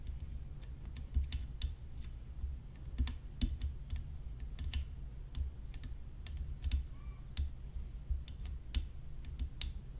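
Long nails tap rapidly along the rim of a hollow graphite tennis racket frame studded with rhinestones, lying flat. The quick, dry, clicky taps have sharp bright attacks that die away at once, set over a steady low hum and a faint constant high tone.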